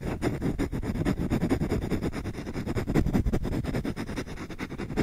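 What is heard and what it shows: Fingertips scratch quickly across the wooden surface of a solid wooden spoon, its bowl turned edge-on and face-on. The result is a dense, continuous run of short, dry scraping strokes with a dull, muffled tone. Most of the sound sits low, with very little high content.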